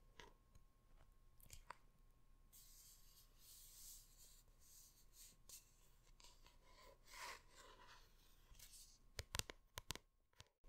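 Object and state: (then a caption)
Hardcover book cover. Long red nails scratch across and tap the front of a large hardcover art book with a printed paper cover, held upright. Several seconds of soft, bright scratching hiss give way to a cluster of sharp, clicky taps near the end, all at a quiet level.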